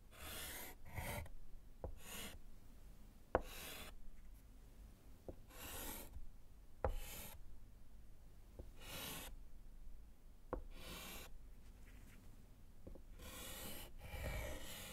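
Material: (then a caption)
Slate. A gloved hand writes with orange chalk on a small solid slate board in a wooden frame, making repeated bright, raspy scratching strokes. Short, sharp taps of the chalk against the slate punctuate the strokes, over a quiet low background.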